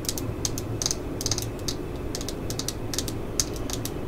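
Fingernails tap and scratch on the grip of a black and yellow Stanley plastic screwdriver handle, giving a quick, irregular series of short, bright clicks. Soft scratching fills the gaps over a steady low background hum.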